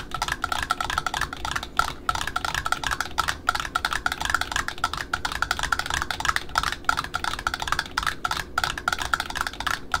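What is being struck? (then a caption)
Cardboard ribbon spool. Long pointed nails tap rapidly and continuously on the top flange of a small cardboard spool wound with dark brown satin ribbon, held in the hands. The taps are short, dry and hollow-sounding with a mid-pitched click near 1.4 kHz, close together with almost no ring.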